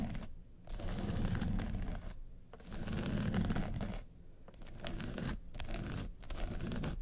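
Long nails tap and scratch the lid of a small hollow hard makeup case covered in woven-texture yellow faux leather. Dull, low scratching and tapping comes in bursts separated by short quiet gaps, with little bright content.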